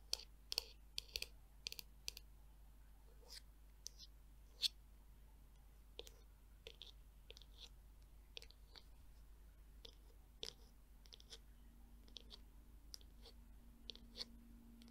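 Long nails tap and click on the curved back of a black, glossy, hollow plastic Tangle Teezer detangler brush. The sound is a quiet run of sharp, bright clicks with almost no ring, spaced irregularly over a faint low hum.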